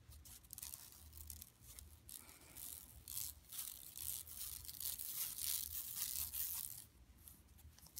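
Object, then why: Woven plastic mesh bag. Long nails scratch a flat, empty yellow woven plastic mesh tote bag lying on carpet. The result is a quiet, continuous run of bright, crisp scratching and rasping strokes that swell and fade irregularly, with a faint low rumble underneath.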